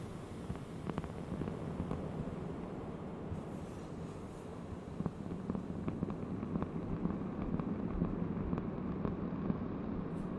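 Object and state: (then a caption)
Cork board. A large, thin, solid round cork board is tapped on its edge and face with long nails. Quiet, short, dull clicks come at an irregular pace over a soft, low, rumbling background. The taps grow slightly louder and more frequent in the second half.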